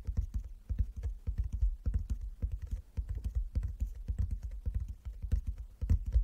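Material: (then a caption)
Wood. Fingertips tap rapidly on a wooden chess board, a box lined with fabric inside, in a steady, uneven patter. Each tap is a dull, low thud that dies away almost at once, with little brightness, giving a soft, muffled drumming throughout.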